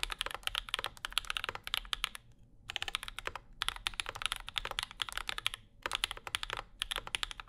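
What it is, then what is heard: Mechanical keyboard typing. A compact Bauer 2 mechanical keyboard with Zykos switches, an aluminum plate and plastic keycaps sits on a desk mat while the fingertips of both hands type steadily on it. The result is a rapid stream of short, bright clacks, centered around 3.3 kHz, with very little low end and almost no ring. The typing pauses briefly near 2.5 and 5.8 seconds.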